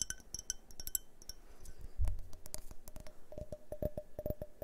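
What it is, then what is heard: Glass tumbler tapped with fingernails. A hand-sized, empty-looking multicolored glass tumbler tinted yellow, purple and red is held in the hands and tapped with fingernails close to the microphones. The result is a quick series of light clicking taps, some ringing with a short glassy tone near 620 Hz, over soft low handling rumble and a brief duller knock around the middle.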